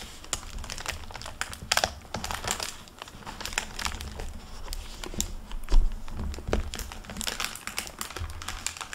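Fingertips turn the paper pages and flip the cover flaps of an open hardcover library book with a plastic-covered paper dust jacket, making dense crinkling and rustling. Sharp, bright crackles come in quick bursts over a steady low hum.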